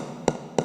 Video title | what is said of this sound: Swiss Roll- With Orange Marmalade | you can also check it by tapping there will be hollow sound